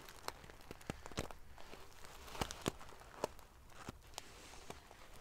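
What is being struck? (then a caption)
Padded pillow covered in metal sequins. Fingers and long nails ruffle the rows of silver metal pieces on a large padded metal-sequin fabric pillow. A low, steady rustling runs throughout, broken by sharp, bright clicks and ticks that die away almost at once.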